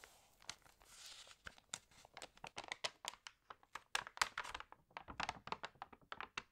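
Fingertips rub and turn the wavy, water-damaged pages of an open glossy home magazine. A softer rustling swell is followed by a quick run of sharp, bright crinkles and crackles. The close, dry sound has almost no low end.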